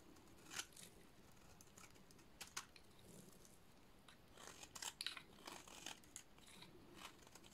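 A dry, hand-sized, solid yellow painted soap bar is held in hands with dark nails and scraped with a metal blade into crumbly shavings. Quiet, crisp, bright crunching and scraping bursts stand out over a soft hiss, with the sharpest cuts clustering near the middle and end.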